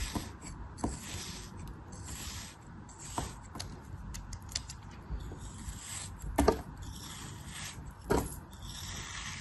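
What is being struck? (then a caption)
Ball of kinetic sand. A craft blade cuts and scrapes through a hand-sized, solid, dense ball of pink kinetic sand scored into a grid and held in one hand, and the pieces crumble off. Soft, gritty scraping and rubbing runs throughout with a bright, hissy edge, broken by short crisp crunches. Two crunches near the end stand out louder than the rest.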